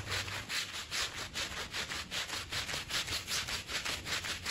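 A green push broom scrubs a small, fringed woven fabric rug that is wet, soapy and very dirty. Steady back-and-forth bristle strokes make a bright, hissing swish that rises and falls at a regular rhythm of about two and a half strokes per second.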